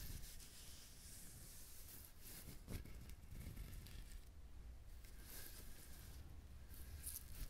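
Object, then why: Whole coconut with fibrous shell. Fingernails scratch and tap a whole coconut with a hard, fibrous shell held close to the mic. The result is a quiet, steady rubbing and scratching texture dominated by low rumble, broken by a few short, dull taps that die away almost at once.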